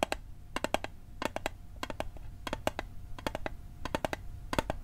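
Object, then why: Small metal mint tin. A small, hollow metal Altoids mint tin is held on its edge and tapped with fingertips and nails. About two dozen sharp, clicky taps come in quick little clusters, each with a faint tinny ping near 900 Hz. The taps die away almost instantly over a low background hum.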